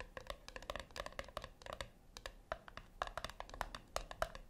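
Long acrylic nails tap and scratch the flat top of a small round brushed-silver metal tin, or puck, resting on a white cloth. A rapid, uneven series of short, dry clicks and scrapes follows, each dying away almost at once. The clicks carry a faint metallic ring near 670 Hz.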